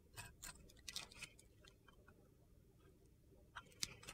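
A metal box-cutter blade scrapes crumbly flakes off a solid, glitter-coated soap bar held in the hand and turned onto its side. Short, bright, gritty crunches come in an irregular cluster at the start, then a quiet pause, then a few sharper scrapes near the end.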